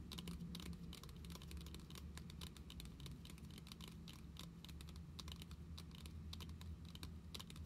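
Long nails tap rapidly along the top edge and surface of a closed Pokémon card binder with a glossy plastic cover. Steady, dense, bright clicking plays over a low, constant hum throughout.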